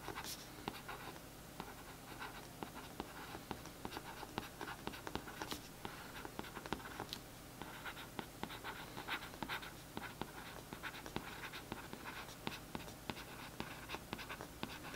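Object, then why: Glossy cardboard paperback book cover. A paintbrush tip scratches along the printed text on the back of a glossy cardboard paperback book cover lying flat. It makes a quiet, continuous bright scratching with many small crisp ticks throughout, over a faint low steady hum.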